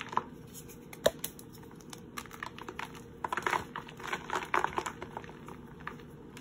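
A palm-sized red-and-white gym chalk block of red-dyed magnesium carbonate, already broken into two chunks, is held over a blue bowl of powder while bare fingertips and palms snap and crush it. Quick, dry crunches and crisp snaps come in scattered bursts, sharpest near the start and in clusters later, as crumbs fall into the bowl.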